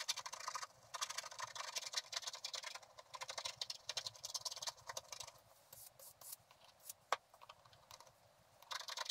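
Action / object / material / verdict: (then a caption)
scrape / scratch-art card scratched with a wooden stylus / coated card / none. A wooden stylus scratches away the black coating of a flat, solid scratch-art card, revealing the gold layer beneath, while the other hand holds the card steady. The short strokes make dry, bright, scratchy rasps in quick bursts with brief pauses between them, and one sharp tick stands out near the seven-second mark.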